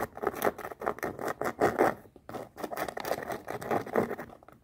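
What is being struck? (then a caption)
Canvas sneaker with rubber sole. A floral canvas sneaker held on its side has its rubber sole edge and canvas upper scratched and rubbed with long nails. The result is a quick run of dry, scratchy, rustling strokes, mostly midrange with little low end, each fading almost at once.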